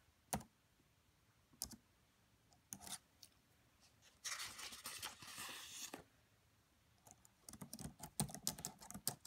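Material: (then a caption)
Plastic. Fingertips with long French-manicured nails tap the black plastic chiclet keys of a red laptop with a hollow body, using both hands. A few isolated, bright, dry clicks come first, then a soft, hissy brushing stretch of about two seconds. The clip ends in a quick, uneven run of crisp keystrokes that die away almost instantly.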